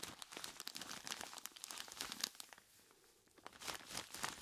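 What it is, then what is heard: Plastic bag of ice cubes. A large clear plastic bag full of ice cubes is squeezed and rubbed by hands in skeleton-claw gloves. It gives a dense run of bright, crisp crinkles and crunches, with almost no low end. The sound drops to a near-quiet lull midway before the crinkling picks back up.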